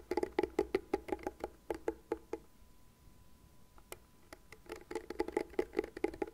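Long nails tap the plastic rim and scratch the bristle pad of a light blue, cat-shaped plastic hairbrush. The result is quick, sharp, hollow clicks with a woody tone and almost no ring. Rapid runs of taps at the start and end frame a quieter middle stretch with only a few scattered ticks.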